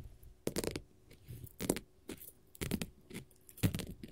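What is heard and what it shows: A flat, solid blue glitter faux leather sheet is tapped and scratched with long gold metal finger-jewelry nail caps. The result is a quiet series of short, crisp, bright scratchy bursts with dull low taps. They come in about four main clusters, each with a faint tonal hum underneath.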